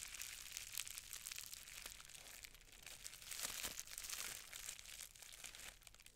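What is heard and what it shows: A roll of green plastic bubble wrap, about 25 cm long, is held in both hands and squeezed and twisted by fingertips with long red nails. It makes a steady, bright crinkling with frequent small pops and crackles, swelling louder in the middle.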